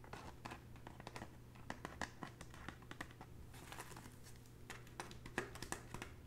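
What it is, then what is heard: Woven straw bag. Long natural fingernails tap across the surface of a hollow red woven straw bag. A quick, uneven series of light, dry clicks and crinkly scratches sounds over a steady low hum, each tap dying away almost at once.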